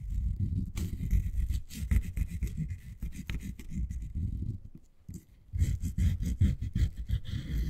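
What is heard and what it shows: Long nails scratch slowly along the fabric-covered edge of a miniature beige faux suede toy couch, making soft, low, muffled rubbing strokes in an uneven rhythm. The scratching pauses briefly near the middle and then resumes with a faint bright hiss over each stroke.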